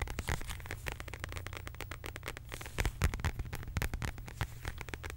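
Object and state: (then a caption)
Faux leather wallet tapped and scratched with nails. Long acrylic nails rapidly tap and scratch a medium, flat, hollow beige quilted faux leather zip wallet. The result is a dense, crackly stream of short, dry clicks over a soft, low, hollow thump, with a few sharper taps standing out.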